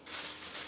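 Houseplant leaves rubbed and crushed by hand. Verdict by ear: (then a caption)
Dry. The dry leaves of a neglected Tradescantia, left unwatered in a dark corner for about a month, are rubbed and crushed by hand. The result is a bright, crisp rustling crunch that swells twice over the brief clip. The sound confirms the foliage is crispy and bone dry.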